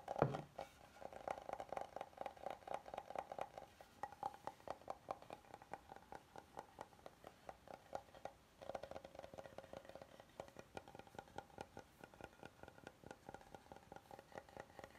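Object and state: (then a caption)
Oval wooden serving board. Fingertips tap and nails scratch the face and underside of a flat oval solid wooden serving board that is held and tilted. A louder knock opens the clip, followed by a steady stream of quick, dry taps and scratches with a hollow mid-range woody tone and very little ring.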